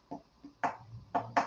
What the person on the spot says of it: kind of a ceramic almost metallic ring